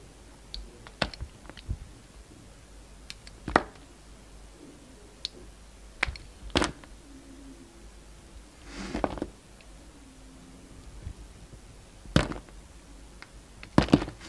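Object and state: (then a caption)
Bar of soap being cut. A yellow-handled metal utility knife slices thin slabs and wedges off a hand-held solid bar of soap with black and white stripes, with the cut pieces lying on a wooden table. Sharp, dry clicks and snaps ring out as the blade breaks through the soap, mixed with softer scraping strokes. The sounds are scattered and brief, with quiet pauses between cuts.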